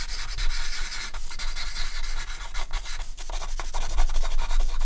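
A hand scratches and draws lines with a charcoal stick on a flat white artist's paper sheet, shading a horse's head. Dry, scratchy rubbing strokes come in quick, uneven bursts of about four per second, with a bright hiss over a steady low hum.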